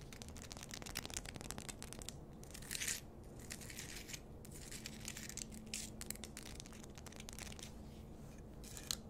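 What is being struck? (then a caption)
Rock-salt lamp on a wooden base. Long nails scratch a pink Himalayan rock-salt lamp on a wooden base held close to the mic, making a dense, bright, crackly scraping with rapid clicks over a steady low hum. The scratching swells in brief bursts, and near the end the nails may touch the wooden base.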